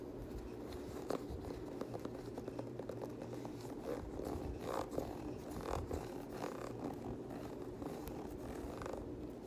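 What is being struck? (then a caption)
Knit fabric sneaker with ribbed rubber sole. Fingertips and nails scratch along the ribbed cream rubber/boost midsole and the Primeknit textile upper of a hollow grey/white Yeezy 350 sneaker. The result is a quiet, steady, dense rasping texture centered in the low-mids, dotted with small sharp ticks and short brighter scrapes.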